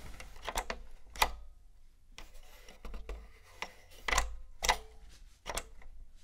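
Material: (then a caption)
Hard plastic. A long nail and fingertip tap and press the round power and reset buttons and the casing of a grey, hollow, hard-plastic PlayStation 1 console lying on a fluffy rug. The sound is a string of short, dry, irregularly spaced clicks and hollow plastic taps with bright edges, over a soft low rumble.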